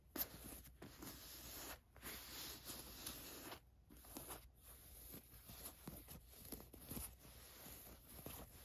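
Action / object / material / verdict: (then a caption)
scrape / cotton t-shirt with a printed design / cotton / none. Long nails scratch the gold watch print on a black cotton t-shirt, making bright, dry scraping strokes. A hand then rubs the plain fabric, giving softer, continuous rustling with short scratchy bursts over a low steady hum.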